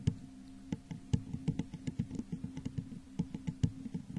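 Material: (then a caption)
Glass. Long nails tap the sides of a hollow, textured clear glass vase set upside down over a microphone. About twenty quick, dry taps land in an uneven rhythm, each with a low, hollow thump near 170 Hz and a faint bright click. Each tap dies away almost at once.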